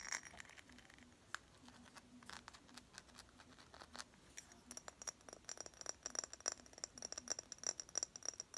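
Long pink nails tap and scratch a small clear glass perfume bottle with liquid inside, held close to the microphone. The sound is a quiet stream of sharp, bright clicks and faint scratches with a high glassy ping, growing busier in the second half.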